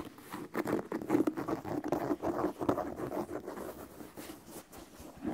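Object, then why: Leather sneaker with rubber sole. Fingertips tap and scratch the side of the upper and the rubber sole edge of an empty white leather sneaker held close to the microphone. The result is a quiet, irregular patter of soft, dull taps mixed with scratchy rubbing, centered in the low-mid range with almost no bright content.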